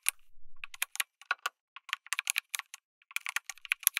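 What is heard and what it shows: Fingertips type continuously on a backlit mechanical keyboard with plastic keycaps, an FR4 plate and tactile switches. Sharp, bright clicks and clacks come in quick, uneven bursts with very short decay, and around 21 separate key hits are audible.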